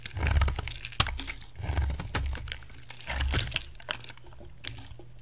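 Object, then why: Bar of soap. A utility knife blade held against the edge of a solid white rectangular bar of soap shaves it, and crisp flakes fall away. Dry, crunchy scraping strokes come in swells, with a low rumbling body and sharp, bright snaps between them. Quieter crinkling fills the gaps.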